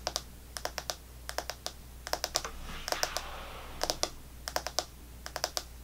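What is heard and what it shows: An Extra chewing gum pack, with clear plastic blister bubbles over a cardboard/foil back and some gum left, is held in the hands and tapped rapidly with long fingernails on the bubbles. Quick bursts of sharp, bright plastic clicks come in small clusters, with a soft rustling hiss between the taps near the middle. A faint steady low hum sits underneath.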